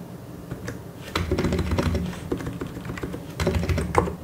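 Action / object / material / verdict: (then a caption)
tap / plastic mechanical keyboard / plastic / none. Two hands type with the fingertips on a white and grey plastic mechanical keyboard. The keystrokes come in quick, uneven bursts of short, dull clacks with a deep thocky body and little brightness. Each press dies away almost at once.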